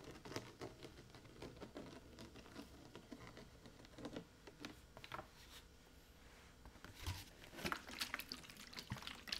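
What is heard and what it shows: A large, hollow blue plastic water jug, partly filled with water, is held in both hands and tipped and shaken so the water sloshes inside, with some finger tapping on the plastic. Soft, irregular sloshing and pattering mix with short, sharp taps, easing to a quieter stretch in the middle before brighter, louder taps and splashes return toward the end.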